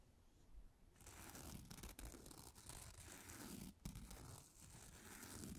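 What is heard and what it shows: A small, flat, dry, porous cellulose facial sponge with a bunny-shaped outline, solid rather than hollow, is held in one hand beside the microphone and scratched and tapped with long acrylic nails. After a quiet first second, a dense, continuous dry rasping and crinkly, tearing-like scratching fills the clip, heavy in the low end with bright papery texture on top. Brief pauses come near 2 and 3.8 seconds.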